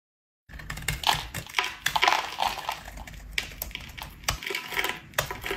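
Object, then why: Bar of soap shaved with a metal blade. A metal utility-knife blade shaves a solid, pale pink rectangular bar of dry soap embossed "PURE," held in one hand, scraping off white powdery shavings. After a brief silence, a run of dry, crunchy, bright scraping strokes follows, each a short, crisp rasp with almost no ring.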